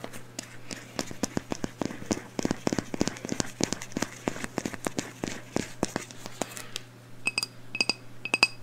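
A medium black glass candle jar, filled with wax and holding a lit candle, is held in one hand and tapped with long blue nails. Rapid, irregular clicking taps run over a steady low hum. Near the end come a few slower taps that ring briefly with bright, high glassy tones.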